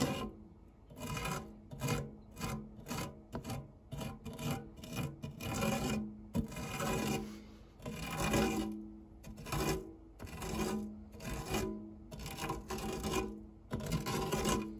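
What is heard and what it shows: A white silicone spatula is rubbed and scraped close up across the base of a round, dark non-stick metal fluted tart tin with crumbs on it. Repeated rasping, scratchy strokes come in uneven bursts, carrying a faint metallic ring around 250 Hz.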